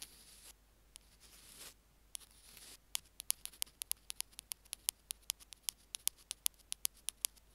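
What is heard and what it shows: Two bamboo ear picks scratch and then tap the middle of a small white plastic Apple earphone mic remote resting on a stone slab. Soft, airy scratching hiss for the first few seconds gives way to a fast, uneven patter of a couple dozen sharp, bright, dry clicks with almost no ring.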